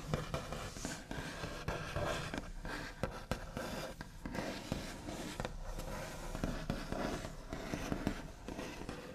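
Both hands tap quickly with the backs of the nails across the large, solid, smooth top of a white-finished wooden table, with some tracing over the surface. The result is a dense run of short, dull taps with little ring, mixed with a soft, scratchy rasp over a steady low body.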